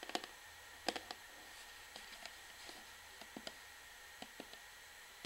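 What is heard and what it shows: Long fingernails of both hands tap rapidly on the front of an upright orange plastic Sunsilk shampoo bottle, then move toward its bottom. About eleven short, sharp, bright clicks come in irregular bursts, each dying out almost instantly. A faint steady tone runs quietly underneath.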